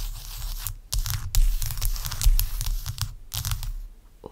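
A large, clear, solid block of ice resting on a towel is scratched with long acrylic nails. Rough, tearing scrapes come in irregular bursts, each cut off by brief pauses. A steady low rumble runs underneath throughout.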